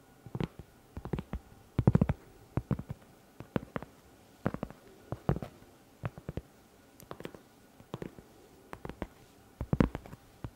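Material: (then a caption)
Cork. A round, flat, solid cork trivet about 20 cm across is held beside the microphone while long red nails scratch and tap its surface. The result is a steady run of soft, dull taps in quick clusters, mostly low and muffled, with brief scratchy clicks that die away almost instantly.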